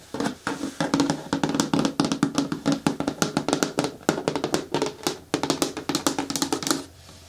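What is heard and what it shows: Long nails tap quickly on the side walls of a hollow, hard green plastic caddy bin with a lid and grey handle. The result is a rapid, steady stream of short, dry clicks with a hollow resonance around 280 Hz. The stream pauses briefly near 4 and 5.3 seconds, and each tap dies away almost at once.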